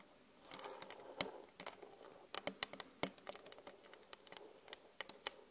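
Long glittery acrylic nails tap rapidly on the surface of a flat glass vanity mirror. About 23 short, sharp, bright clicks land in an uneven patter, with a soft scratchy wash near the start and almost no low end. Each tap dies away almost instantly.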